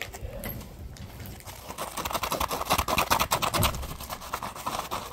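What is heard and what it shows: Fingertips and short nails scratch and squeeze a solid, palm-sized yellow porous polymer foam Scrub Daddy puppy sponge. Quick, uneven scratchy crackles layer over soft squeaks, growing brighter and louder in the middle before easing back down.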